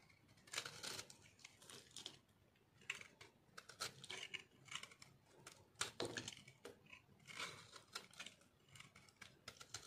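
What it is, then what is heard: Dry bar soap. A solid pink and green chunk of dry bar soap, held in the hand, is cut and scraped with a metal blade. Repeated short, dry crunching and scratchy crackling bursts sound out, bright and crisp with little low end and almost no ring after each stroke.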